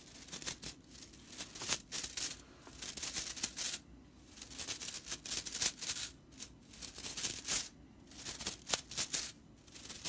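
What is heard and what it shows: A long purple fingernail flicks and scratches the dense dry straw bristle ends of a broomcorn straw whisk broom in close-up. The result is crisp, bright, rattling bursts of dry fiber crackle, separated by brief quiet pauses, with almost no low end.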